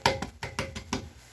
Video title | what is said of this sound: D.Plumber..WC Change-Out ...with a "Curve".... | listen to it it rings